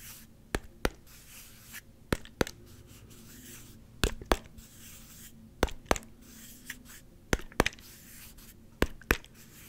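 Slow fingertip taps and rubbing on the orange G-logo cap of a small, clear, hollow plastic Gatorade squeeze bottle. Six evenly spaced pairs of sharp, dry clicks ring briefly with a bright edge. Between them comes a soft, hissy scratching of fingertips rubbing the cap over a low, quiet hum.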